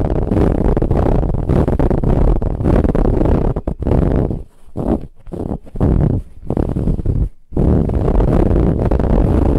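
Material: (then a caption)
Fabric. Long nails scratch along the ribs of a soft brown ribbed fabric pillow, making a dense, low, rasping scrape that runs almost continuously. The scratching drops away briefly into quieter, broken strokes around the middle before resuming at full strength.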